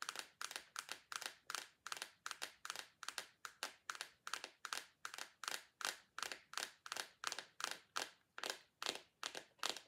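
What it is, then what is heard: Plastic putty tub tapped with nails. A small round clear plastic tub of bouncing putty with a blue lid is held in both hands, handled and tapped with long acrylic nails. The result is a quick, uneven run of short, bright, crinkly plastic clicks and scrapes, each fading almost at once, with almost no low end.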